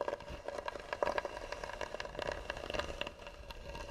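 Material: Wood.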